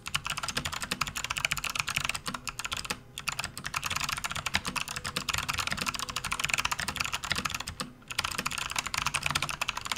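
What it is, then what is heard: Plastic computer keyboard being typed on. Fingertips of both hands type fast on a full-size plastic RGB backlit computer keyboard with hollow keys resting on a desk mat. The result is a dense, continuous stream of bright, sharp clicks with little low end, centred around 2.5 kHz. The typing briefly pauses near 3 and 8 seconds.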